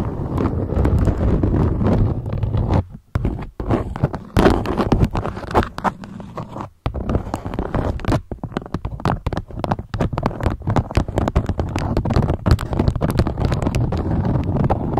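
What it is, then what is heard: Beeswax-coated cotton food wrap. Long nails scratch and tap the waxy folds of a draped beeswax-coated cotton food wrap. Dense, close-up crinkling and scraping fill the clip with rapid, short taps that weigh toward the low end. Brief quiet gaps fall near the 3- and 7-second marks.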